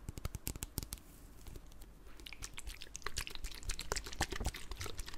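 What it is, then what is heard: Plastic spray bottle tapped. A clear plastic spray bottle with liquid inside is tapped with long black nails, giving quick, irregular clicky taps with a bright edge over a dull, low body. Near the end the bottle is tilted, so the liquid may slosh.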